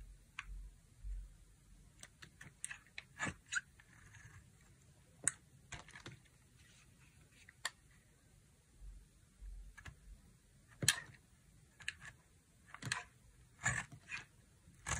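A utility knife blade carves a dry, solid orange-brown bar soap with a pink core, peeling off curled chips. A series of short, crisp, bright scraping clicks come at irregular intervals over a quiet, low background hum, each one dying away almost at once.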